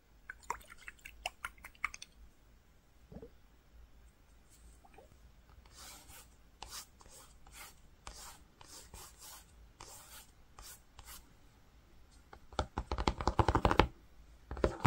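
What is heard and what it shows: Fingertips and nails rub and scratch across flat grey-green woven cotton fabric while tracing letters on the cloth. Short, crisp scratches open the clip, followed by a run of soft, bright brushing strokes. Near the end comes a louder, denser burst of scratching, all over a faint steady low hum.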